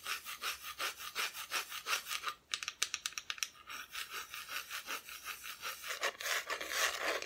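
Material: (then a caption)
Wood. Long nails scratch the raw wood back of a flat, thin, solid wooden Christmas cut-out decoration, which is then turned to face the camera. Steady back-and-forth rasping strokes give a bright, dry scrape with no ring. A short run of quicker, sharper clicks comes midway before the rhythmic scratching resumes.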